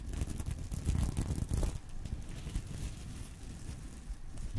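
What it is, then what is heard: Sequin fabric purse. A fingernail scratches across a small reversible sequin fabric purse resting on a pillow, making a dense, crinkly, rustling scrape. The sound is heavy in the low end with faint bright edges. It is loudest in the first couple of seconds, then continues as a softer scratching.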